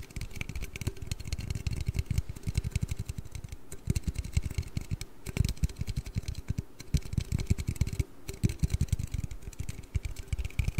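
An aluminium Red Bull energy-drink can is tapped and handled in a steady, rapid stream of light taps. The taps are dull, low, and short with almost no ring, with faint bright clicks above them. Brief pauses break the stream now and then.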